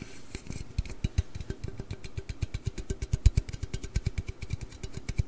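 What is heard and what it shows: A large, hollow aluminium Red Bull energy-drink can is held in the hands, tilted and moved, and tapped and scratched with the fingernails. A rapid, steady series of short, dull low thumps rings out, each paired with a faint bright scratchy tick, over a soft rustling background.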